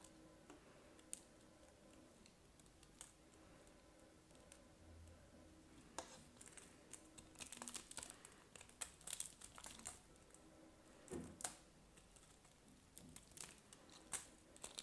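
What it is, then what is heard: Bar of soap. A solid white glittery bar soap held in a hand is scraped and cut into flakes with a craft knife blade, with long dark-painted nails visible. Quiet, dry, crisp scraping and clicking ticks pile up into denser bursts of bright crackle toward the middle and end, each snap dying away almost instantly.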